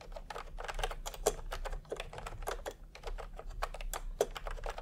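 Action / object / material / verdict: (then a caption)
tap / plastic keyboard with round keycaps / plastic / none. Fingertips of both hands type continuously on a full-size pastel typewriter-style keyboard with round plastic keycaps in a hollow plastic case. A steady, rapid stream of short, hollow, clacky key strikes rises above a low, quiet hum. Each click dies away almost instantly.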